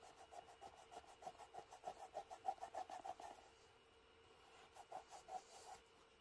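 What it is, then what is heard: Leather shoe wiped with a cloth. A black smooth leather Birkenstock Mary Jane shoe, held in the hand, is wiped down with a grey microfiber cloth along the upper and the sole edge. Quick, steady rubbing strokes make soft, mid-pitched swishing for about three seconds, then after a short quiet pause a few more strokes follow. The sound is quiet and dry, with almost no low end.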